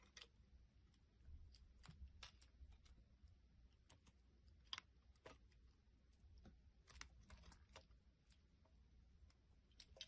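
A utility blade scrapes and carves the face of a solid round green soap disc held in the hand, with other pieces lying on the table. Quiet, dry, crisp scraping strokes come as short bright bursts over a soft low rumble, with no ring after each cut.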